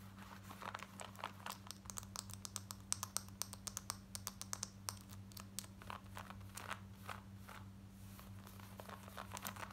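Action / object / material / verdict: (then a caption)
scrape / cotton denim jeans / denim / none. Long acrylic nails scratch fast across the front of light grey cotton denim jeans worn on the legs, near the pockets and waistband. Dense, dry scratches with bright, rough fabric texture repeat rapidly over a steady low hum, each one stopping sharply with no ring.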